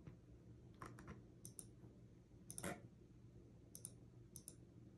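Fingertips with long nails tap on a backlit mechanical keyboard with plastic keycaps, giving twelve sharp, bright clicks over a steady low hum. The typing slows to single-hand key presses, with short bursts of two or three quick clacks separated by pauses.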